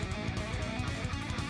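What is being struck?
Nothing is struck.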